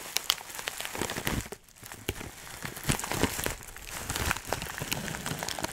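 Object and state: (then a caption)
Plastic bag of dried herbs. A clear plastic bag full of dry herbs is squeezed and crunched firmly with fingers. It gives a dense, bright crinkling and crackling, made of many sharp clicks with a short quiet gap in the middle.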